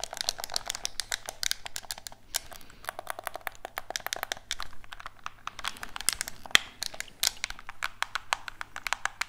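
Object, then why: Plastic game controller. A black hollow plastic gamepad, held in both hands, is tapped with fingertips while its buttons are clicked. The result is a dense, rapid stream of short, dry, bright plastic clicks and taps over about nine seconds, with a faint steady low hum underneath.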